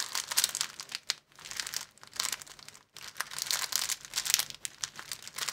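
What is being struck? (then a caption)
Thin clear plastic film sleeve. A thin, empty, hand-sized sleeve of clear plastic film, folded long and flat, is squeezed and bent between the fingers of both hands to crinkle it. The result is dense, bright, crackling crinkles in quick irregular bursts, with almost no low end and two brief silent pauses, near 1.2 and 2.9 seconds.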